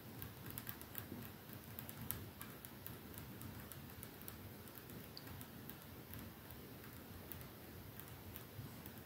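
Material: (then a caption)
Glass. Slow, sparse tapping on a perfume bottle. Light, bright ticking clicks come at an uneven pace over a soft, steady low rumble, and each tap fades out almost at once.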